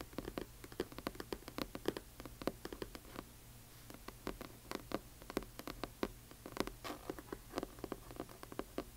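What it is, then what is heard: Hardcover book with paper dust jacket. A large hardcover book with a glossy paper dust jacket lies flat while long nails of both hands tap its cover quickly. Dense bursts of dry, short clicky taps patter in uneven clusters over a faint steady low hum, each tap dying away almost instantly.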